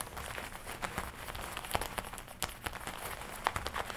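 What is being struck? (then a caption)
Leather jacket. Fingertips tap and rub the leather chest panel of a worn black-and-red leather jacket with a studded collar. Soft, quick taps mix with dry crinkling and scratchy rubbing at a low, steady level, with brief sharper clicks standing out here and there.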